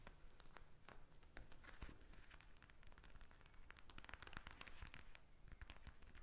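A pink eye mask, a plastic pouch filled with gel beads lying flat on a glass table, is tapped and scratched with long red nails. Quiet, dense crinkling, crackling taps and scratchy rustles run continuously throughout, with sharp clicks scattered among them.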